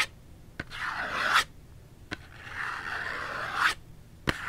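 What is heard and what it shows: A small Dove soap box made of printed cardboard, hollow and holding the soap, is held in one hand and scratched with the fingernails along its edges and sides. Two long, dry scrapes build in loudness and brightness, separated by three short, sharp clicks against a quiet background.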